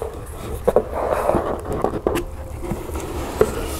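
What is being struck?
Large cardboard storage box.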